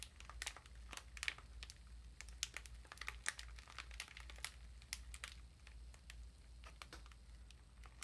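A small exfoliating bath sponge in a thin, clear plastic wrapper is turned and crinkled between the fingers, with the wrapper stretched taut by both hands. Quiet, bright crinkles and sharp crackling snaps come in irregular bursts over a faint, steady low hum.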